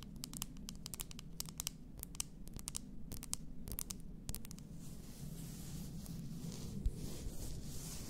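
Long nails tap and scratch on an upright, full glass bath salt bottle. For the first four and a half seconds, a quick, uneven series of sharp, bright clicks sounds over a low steady hum. Then it shifts to a continuous, hissy, high scratching texture.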